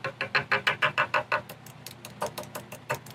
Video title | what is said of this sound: Repair and restoration of the Victorian card table | you can hear the sound of it. So, I know I got to fill that in.